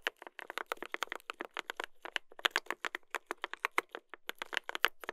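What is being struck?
Mechanical keyboard with brass plate and plastic keycaps.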